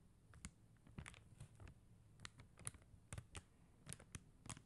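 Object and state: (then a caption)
Plastic rhinestone sticker sheet. Long mint-green fingernails tap and scratch across a flat sheet of blue and clear faceted plastic rhinestone stickers on a white backing. About fourteen short, dry clicks with brief scratchy bursts sound over a soft low hum. Each tap is quiet and crisp, with no ring.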